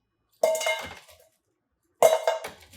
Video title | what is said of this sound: How To Make Extra Crispy Oven Baked Wings 2 Ways | You can hear how crispy they are in there.